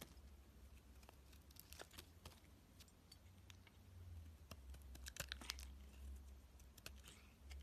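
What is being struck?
Bar of soap scraped with a metal blade.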